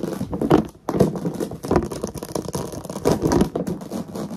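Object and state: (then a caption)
Plastic storage container. Long nails tap quickly and irregularly on the lid and sides of a medium, hollow, translucent plastic storage box with a plush toy inside, ending in a close-up. The dense clicking taps have a dull, hollow plastic tone centered in the low mids with very little high end, and each tap dies away almost at once. The tapping pauses briefly near the first second, then continues steadily.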